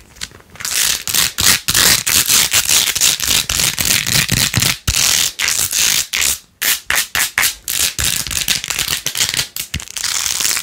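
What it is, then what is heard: Plastic beaded phone case being scratched. A hollow plastic phone case with rose-gold edges, covered in rows of pink plastic pearl beads, is held in the hand and scratched fast with long nails. The result is a dense, bright, crackly scratching with quick rattling clicks in rapid bursts, with hardly any low end.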